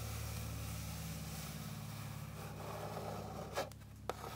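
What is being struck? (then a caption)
Flat wooden board. Long pink nails scratch across a flat, light, solid wooden board with fine grain, making a steady soft rasping over a low, even hum. Near the end, two sharp taps on the surface stand out clearly.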